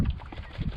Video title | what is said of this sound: 2018 AWD Police Charger Wiring Cleanup PT2 | full of enough water you can hear it sloshing around